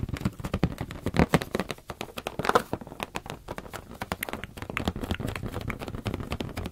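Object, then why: Inflated rubber balloon. Fingertips tap rapidly and steadily on a rubber balloon in ASMR-style tapping. It makes a dense run of soft, dull thumps with short crinkly edges. Each tap dies away almost at once, with no speech.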